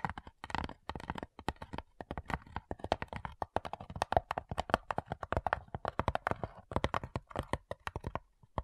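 Long nails tap rapidly on the lid of a flat, light, hollow wooden cigar box. The result is a dense run of short, dry, hollow knocks with a mid-range tone around 700 Hz that die away almost instantly.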